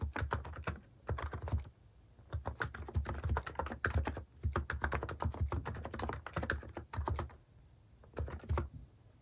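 A plastic mechanical keyboard with cat keycaps sits on a desk while fingertips tap the keys in steady typing. Quick, dull clacks with a deep, thumpy body come in bursts, with a few brief pauses between runs.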